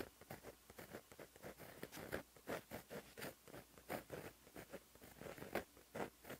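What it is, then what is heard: Pen writing on a paper notebook page. A white gel pen held in the fingers writes continuous Korean script on a flat black lined paper notebook page, its tip scratching across the paper surface. The sound is a quiet, steady stream of short, dry scratches and strokes with a midrange focus, spaced by brief pauses between pen movements.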